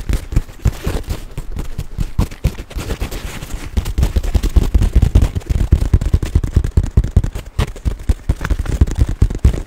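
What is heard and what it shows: Fingertips and nails tap and scratch the surface and fittings of a small, hollow olive-green nylon crossbody bag held in both hands close to the mic. The result is a dense, irregular stream of soft, deep thumps with faint scratching between them, each tap dying away almost instantly.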